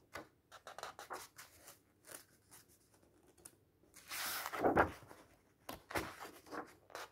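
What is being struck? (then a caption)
Paper pages of a thick illustrated book. Fingers grip the edges of the cream paper pages of a thick, open bird illustration book and turn them, rubbing the paper. Short, dry papery rustles and scratches come in quick bursts, with a louder, longer sweeping swish of a page turning over in the middle.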